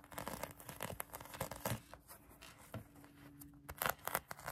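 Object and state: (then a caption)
Foam squishy toy scratched with nails. Long acrylic nails scratch a pink polyurethane foam donut squishy toy held in the hand, producing quiet, dry rasping and crinkly scraping strokes. The short bursts come in an irregular stream, with brighter, sharper scratches near the end and a faint steady low hum underneath.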